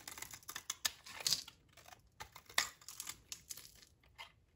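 A utility knife blade scrapes and cuts flakes off a solid, dry green olive-oil soap bar held in the hand, and the flakes pile up on the table. The result is a quiet, rapid series of short, dry, crisp crackling scrapes that are bright and high-pitched, with almost no low end and no ring after each cut.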